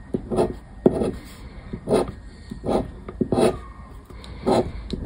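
A paper scratch card lies flat on wood while a hand scrapes its coating with a black disc scraper. The result is a series of short, dry, gritty scraping strokes, each sharp at the start and quick to die away, separated by brief quiet gaps.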